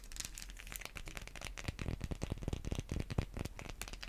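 Long white acrylic nails scratch and tap a solid, hand-sized white bar of Irish Spring soap held in the hands, with the end still partly hidden. The sound is a quick run of dry clicks and scratchy crackles with a low thumpy body, each tap dying out almost at once.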